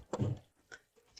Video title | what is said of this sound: Kulkas tidak dingin hanya nyala lampu | bunyi dari silikanya itu masih kedengeran masih kedengeran keras gitu cuman ini kayak sudah menggumpal